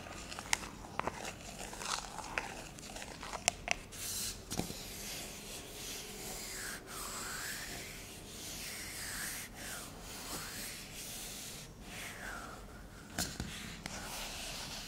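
Fingertips and long nails rub and scratch the body of a shaving foam can resting on a countertop, with both hands gripping it. Bright, scratchy rubbing is heard with sharp little clicks and taps, plus swelling swishes that rise and fall over a steady low background. The sound stays soft and close throughout.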